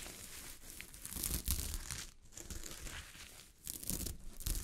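Long fingernails scratch and flip a sheet of fabric covered with small gold sequins. The result is a dense, crinkling rustle of bright, scratchy clicks over soft low thumps, swelling and fading in uneven bursts with brief quiet gaps.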